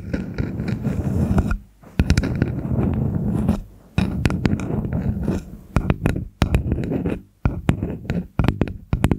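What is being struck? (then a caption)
Small wooden spoon. A small, solid red-stained wooden spoon held over a fluffy microphone is tapped and scratched along its bowl and handle with long acrylic nails. Dense, low, rustling scrapes alternate with sharp taps, broken by brief silent gaps.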